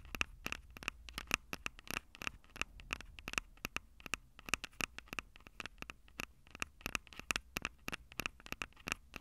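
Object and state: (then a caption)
Fingernails tapping and scratching the metal mesh mic capsules of a handheld recorder. Long purple nails scratch and tap the two small metal-mesh condenser capsules on top of a black plastic Tascam DR-05 handheld recorder, the same recorder capturing the sound. Dozens of quick, dry, bright clicks and taps with almost no ring come in an irregular patter, each carrying a faint tone near 2.6 kHz over a soft low rumble and light scratching between hits.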